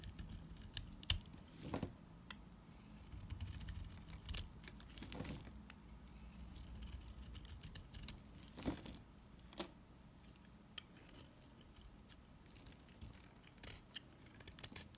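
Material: Soap.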